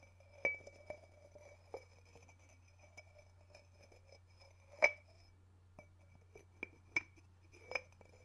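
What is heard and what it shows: Fingertips tap and lift the ceramic lid of a small, hollow white ceramic sugar bowl held in the palm beside the mic, so the lid clinks against the rim. Several short, bright clinks with a clear tone near 2.3 kHz ring out and die away quickly, separated by softer touches. A steady low hum sits underneath.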